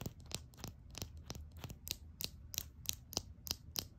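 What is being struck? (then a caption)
Small glass nail polish bottle. Long acrylic nails tap a small glass nail polish bottle, full of red polish, with a black plastic cap. Thirteen quick, bright clicks with little ring come at an uneven pace over a low background hum.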